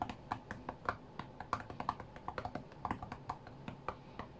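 Fingertips tap rapidly on the glass touchscreen of an iPad tablet lying flat on a cutting mat. The result is a quick, uneven rhythm of short, dry clicks with a midrange knock around 1 kHz and almost no ring.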